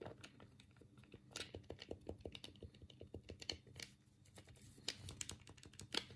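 A black hollow plastic Sega Mega Drive controller is held in both hands while the thumbs rapidly click its D-pad and A, B and C buttons. A quick, uneven stream of short, dry plastic clicks and taps follows, each one bright and dying away almost at once over a soft low rumble.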